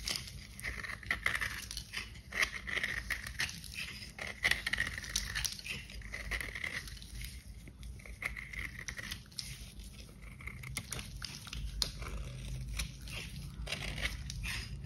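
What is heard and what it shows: A kitchen knife shaves and scrapes the surface of a hand-sized, solid pink bar soap with a glitter coating, held in gloved hands. The result is a steady run of dry, crunchy scraping and crackling strokes with bright, gritty texture over a faint low rumble.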